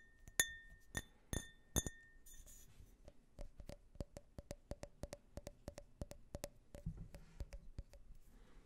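A small empty glass tumbler with a US flag print is tapped a few times at the start, each tap giving a bright, short clink that rings near 1.8 kHz. Fingernails then scratch and rub along the outer wall and the rim in a quick run of dull, dry ticks with a faint scraping hiss.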